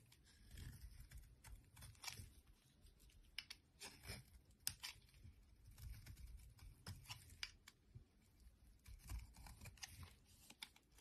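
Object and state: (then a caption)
Bar soap being scraped and cut. A thin metal blade repeatedly scrapes and cuts into a solid, palm-sized white bar of soap held in the hand, peeling off curled shavings that pile up. Quiet, crisp crunching and tearing strokes come in short, sharp bursts with bright, high scraping textures over a low, soft rumble.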